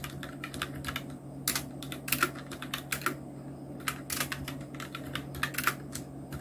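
Fingertips of both hands type quickly on a full-size black Nubwo Illution NK-70 mechanical keyboard with Outemu red switches, round plastic typewriter-style keycaps and blue backlight, resting on a white desk. The result is a steady stream of bright, short plastic clicks and clacks with a few louder key strikes, over a faint low hum.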